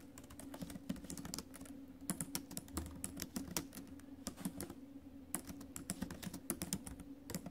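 Fingertips and acrylic nails type fast on the plastic keys of a silver metal laptop keyboard. Dense, bright clicking taps ring out over a steady low hum, with occasional louder strikes standing out.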